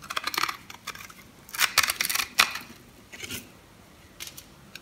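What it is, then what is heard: Dry bar soap being cut into cubes. A metal blade shaves and cuts scored cubes from a dry, solid, light-green bar of soap held in the palm. Crisp, bright crunching and scratching bursts come in quick clusters, with almost no low end and very short decay. Small soap pieces crumble away from the bar.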